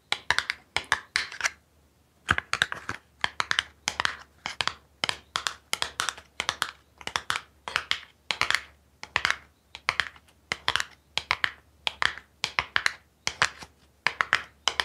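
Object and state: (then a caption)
Small cardboard box. Long pink nails tap and scratch the sides of a small, hollow, printed cardboard product box held in one hand. The sound comes in quick clusters of bright, dry clicks and scratchy rasps, with short pauses between them and almost no ring after each tap.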